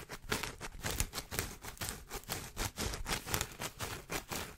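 Fingertips and nails scratch and tap the crown of a large woven straw sun hat with a frayed brim and black band, held in front of the microphone. Quick, uneven dry taps mix with a continuous bright, brushy rasp of the straw weave, each tap dying away almost instantly.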